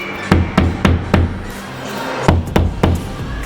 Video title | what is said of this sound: Learn About Plasterboard walls #diy | you can tap it and it sounds like it's loose